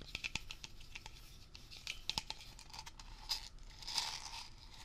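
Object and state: Aerosol can with plastic brush cap, tapped and scratched.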